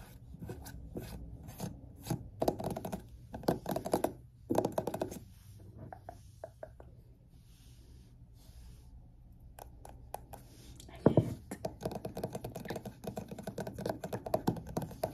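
A large wax-filled glass candle jar with a butterfly label is held in both hands while fingertips and nails tap and scratch on the glass. Bursts of soft, dull tapping and rasping scratches come in clusters, with a quieter stretch in the middle before a denser run of taps and scratches at the end.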